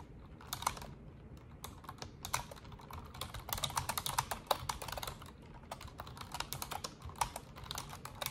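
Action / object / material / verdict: tap / plastic computer keyboard / plastic / none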